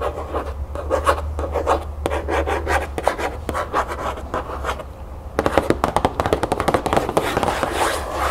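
A cardboard cereal box is held upright in the hands, back panel outward, while long nails tap and scratch across the printed cardboard. Soft, papery scratching strokes in the first five seconds give way to a quick run of crisp, dry taps with almost no ring, over a steady low hum.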